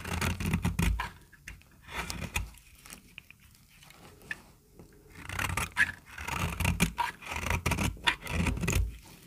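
A small, solid, peach-colored bar of dry soap is held in the hand and shaved with a metal utility-knife blade, sending curls of soap falling off. Quick, dry scraping strokes come in clustered bursts with a low thud underneath and a brief quieter lull in the middle. Each scrape ends sharply with no ring.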